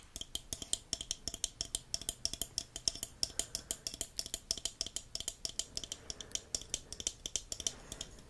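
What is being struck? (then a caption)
Plastic jellyfish pop tube toy. A green plastic jellyfish pop tube toy with a hollow dome head and ribbed tubes is tapped and scratched with fingertips and nails. The result is a rapid, steady stream of sharp, bright plastic clicks and ticks, each dying away almost instantly.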